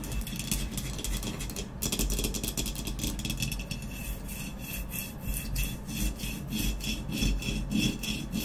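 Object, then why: Ceramic vase. Long nails scratch and tap quickly across the black textured matte body of a hollow ceramic vase lying on its side. A steady, dry scratching rasp with a bright edge runs throughout, layered with rapid light taps over a low hollow resonance, with no pauses.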